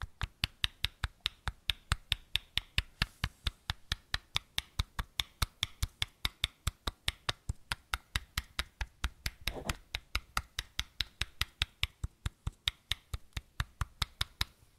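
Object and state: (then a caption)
Plastic bottle. Fingertips tap the cap end of a small matte white plastic bottle in quick strokes, giving a steady run of 66 short, dry taps with a low thump and a bright click. A brief rustling burst sounds near the middle.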